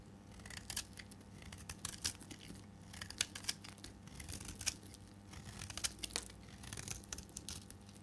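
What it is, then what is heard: Dry bar soap being shaved. A solid, cream-colored piece of dry bar soap is held in the fingers and shaved with a metal blade, breaking off crumbly flakes. Dry, crisp scraping and crackling bursts repeat irregularly, bright and brittle with very short decay, over a faint steady low hum.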